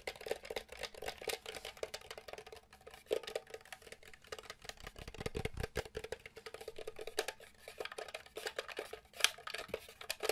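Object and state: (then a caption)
Hollow plastic mini game console. A small, hollow, grey plastic SNES Mini console is held in one hand while the fingertips and nails of the other hand tap quickly on its top and vented back. The result is a quiet, rapid stream of dry, bright clicks and light knocks that die away almost instantly, with very little low end.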